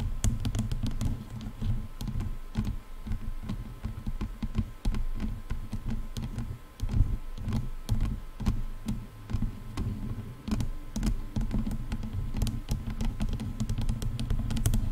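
Long nails scratch and tap along the plastic and padded headband of over-ear headphones, working from both sides. A dense run of quick, dull taps and scratchy brushes keeps up steadily, heavy in the low end with almost no ring after each tap.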